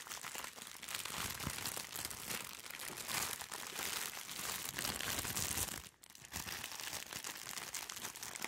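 A medium-sized white soft plastic-wrapped package is held close to the microphone and squeezed and crinkled by hands in disposable gloves. Dense, bright crinkling and crunching runs throughout, mostly in the high range with little low end. It drops off briefly just before the six-second mark, then resumes.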